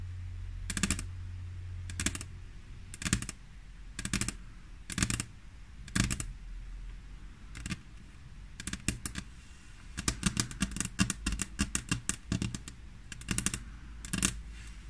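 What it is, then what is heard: Glass tabletop tapped with fingernails. Long fingernails on both hands tap a flat, solid glass tabletop. Sharp, bright clicks come first as spaced single taps about once a second, then speed up into quick, dense runs of tapping. A steady low hum runs underneath throughout.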